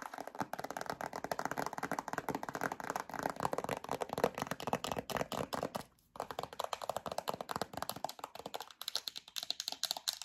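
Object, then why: Plastic hand cream tube and cap. Long acrylic nails tap rapidly on a yellow plastic hand cream tube and its black plastic cap, making a dense stream of short, dry, hollow clicks centered in the midrange. The tapping stops briefly around the six-second mark, then resumes with slightly brighter clicks.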